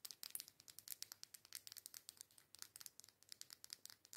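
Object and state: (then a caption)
Plastic lipstick tube. Long nails rapidly tap and scratch the barrel of a small, filled plastic liquid lipstick tube with a pink cap. About thirty quick, dry, bright clicks and crinkly scratches come through at a quiet level, with almost no low end and no ring after each hit.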